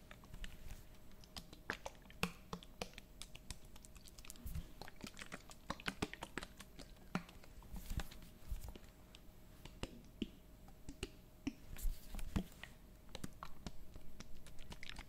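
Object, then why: Plastic bottle of liquid. Long painted nails tap and scratch a medium clear plastic bottle full of yellowish liquid with a paper label and a white cap. The sound is a quiet, dense run of sharp, short clicks and light scratches with a low rumble underneath. Each tap dies away almost at once.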